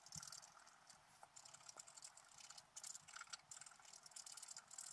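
A wooden stylus scratches the coating of a flat black coated scratch-art paper sheet resting on a table. The result is a quiet, bright, dry scratching with rapid rattly strokes that swell and fade, with almost no low end.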